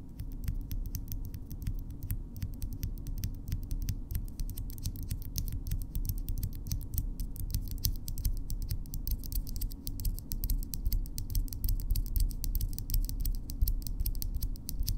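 Long natural fingernails of both hands, solid keratin, are tapped and scratched against each other nail-on-nail up close. A steady stream of quick, sharp, bright clicks and light scratches rides over a constant low rumble at an even level for the whole clip.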